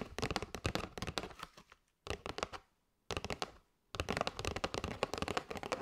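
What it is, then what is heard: Cardboard box of paper straws. Long nails tap and scratch the side edge and front of a kraft cardboard box full of paper straws. Quick, dry, crisp taps come in dense bursts, broken by short pauses of silence, with faint scratchy texture between the taps.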